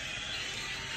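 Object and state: Nothing is struck.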